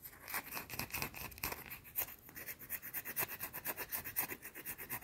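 A round, flat, solid white soap bar held in the hands is scratched with long teal nails, partly hidden by the fingers. The result is a rapid series of dry, bright scratching strokes, about two per second, with crisp high hiss and little low end.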